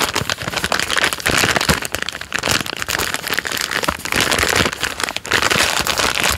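A full plastic-film packet of Jammie Dodgers Unicorn biscuits is turned front and back while a thumb and fingertips rub, squeeze and scratch the wrapper. The result is dense, bright crinkling and crackling rustles that swell and dip in loudness over the whole clip, with little low-end weight.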